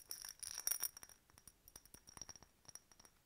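A hollow, empty faceted clear glass decorative bottle with a bird stopper is tapped and scratched with long nails. The clip opens with a dense cluster of bright, scratchy clicks, then settles into sparse, crisp high taps with very short decay and almost no low end.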